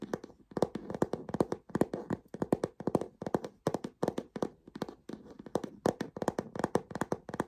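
Fingertips and nails tap on the underside of the smooth tan leather base of a leather-trimmed plaid canvas handbag, with a metal stud foot on it. The taps come in quick clustered bursts with brief pauses between them. Each one is a short, dry, muted knock with almost no ring, centered in the low-mid range with a light crisp click on top.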